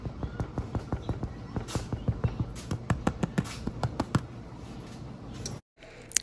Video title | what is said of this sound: Sourdough Starter Series Update - Bake Bread With Me | that hollow sound that you just heard is exactly what you want to hear that lets you know that your bread is cooked and done all the way through